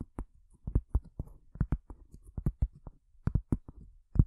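Long fingernails tap on a cork surface in a quick, uneven series of soft, dull knocks. Each tap is short and low-pitched, with almost no ring and no bright high end.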